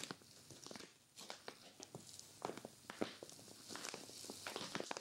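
A hand with long nails grips and scratches the crinkly surface of a clear vinyl zippered storage bag with white zipper trim, stuffed full with a grey knit sweater. The result is quiet, steady plastic crinkling and rustling with many sharp, bright scratching ticks scattered throughout and almost no low end.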